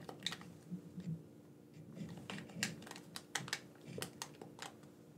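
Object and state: Plastic game controller, buttons clicked.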